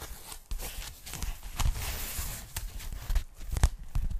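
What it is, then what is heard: Foam packing bag. Long nails tap and scratch the surface of a thin pink polyethylene foam packing bag, held up flat and empty by the hands. Soft, dull taps with a low thump mix with dry, crackly scratching that brightens the foam's rustle. Each sound stops short with almost no ring.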